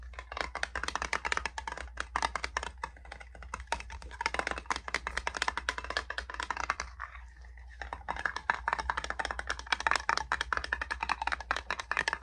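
A small metal hand salve tin is tapped rapidly with dense, clicky taps that sound much like fast typing, bright and short with almost no ring. The tapping pauses briefly just past the midpoint before resuming, over a steady low hum.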